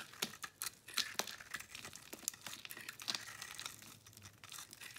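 A metal blade scrapes a solid white bar of soap with a green rim, held in the palm, shaving off crumbly flakes and powder. The sound is a dry, bright, crinkly scraping made of many quick crackles and rasps, with almost no low end.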